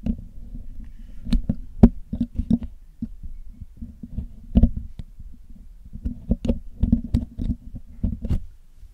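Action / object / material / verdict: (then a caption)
scrape / metal mesh microphone grille / metal / none. A metal needle pick scratches and picks at the hollow black metal mesh grille of a Blue Yeti microphone during cleaning. Close, low scraping rumble is broken by quick, dry clicks and ticks, busiest in the first few seconds and again near the end, with a quieter patch in between.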